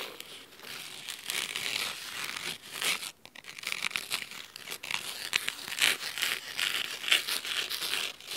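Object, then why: Cloth-covered hardcover book. Both hands with medium-long natural nails scratch the navy blue fabric cover and spine of a thick hardcover book lying on a wooden table. The result is a steady, dry, high scratching and crinkling hiss with no low end, rising and falling in quick strokes with brief pauses.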